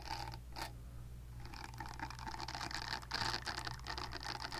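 Long nails scratch across the nubbed face of a purple-pink silicone facial cleansing brush held close to the mic. The result is a dense, irregular run of soft, bright scratching and rubbing with a steady low hum underneath.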